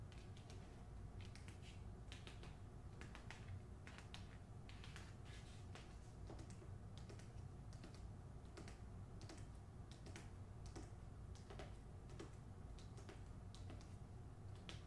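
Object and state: Hardcover book tapped with nails.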